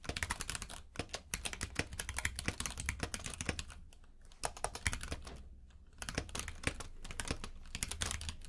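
Both hands type with their fingertips on a compact mechanical keyboard with plastic keycaps in a grey frame, lying on a purple rug. Rapid, crisp clacking key taps come in bursts, with brief quieter pauses around the 4 and 6 second marks, over a steady low hum.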